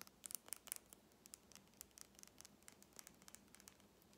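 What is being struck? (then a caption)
Small plastic tube with metal cap. Fingernails tap and scratch the metallic cap and plastic body of a small lip gloss tube filled with red gloss, held close to the microphone. A quiet, rapid series of sharp, bright clicks and scratchy ticks, louder at the start, each dying away almost instantly over a faint low hum.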